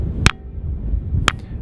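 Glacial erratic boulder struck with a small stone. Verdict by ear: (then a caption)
Ringing. A small stone strikes the round cup-marked holes of the Ringing Stone on Tiree, a glacial erratic boulder of metamorphic stone. Two short, sharp strikes sound with a faint high ring. Low-pitched music plays underneath throughout.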